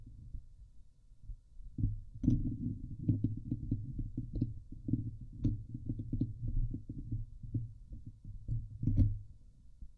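Long painted nails scratch the hollow woven steel mesh dome grille of a Blue Yeti microphone, producing dense, low, thumping scrapes with a resonant hum around 105 Hz. Rapid, tightly packed scratching strokes fill the clip, with a few brief brighter rasps.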